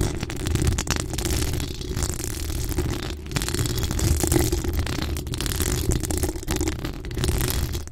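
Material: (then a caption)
Steel mesh. Long acrylic nails scratch the hollow steel mesh grille of a pink decorated microphone. The result is a steady, dense, low rumbling scrape with a muffled rattling texture that swells and dips briefly, carrying only faint bright hiss above it.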